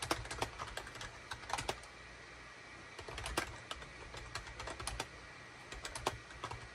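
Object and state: Plastic computer keyboard being typed on.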